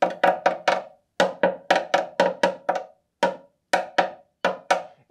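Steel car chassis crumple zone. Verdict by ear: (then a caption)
Thin. A hammer taps 16 times in uneven groups on the thin front crumple-zone section of a Citroen Mehari's steel chassis, giving short, dry, wood-block-like knocks with a mid pitch and almost no ring. Rust has thinned the metal so much that even these slight taps visibly deform it.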